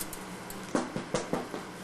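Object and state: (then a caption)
Baked-through loaf of bread, hollow. A freshly baked challah loaf, straight out of the oven, is knocked on its bottom in a quick, evenly spaced series of short, dull thuds that fade fast. The knocks sound hollow, like a hollow door, showing the bread is baked through.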